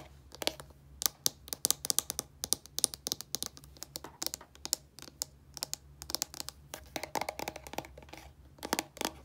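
Fingernails tap quickly and scratch across the front of a small, hollow, white plastic shampoo bottle with a blue flip cap. The result is a dense run of sharp, bright, dry clicks with no ring, and soft crinkly scratching in between over a faint, steady low hum.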